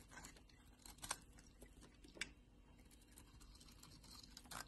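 A utility knife blade carves and scrapes a solid pink bar of soap held in the hand, peeling off shavings. Quiet, dry scraping and crisp, bright ticks come and go irregularly, with a couple of sharper cuts standing out.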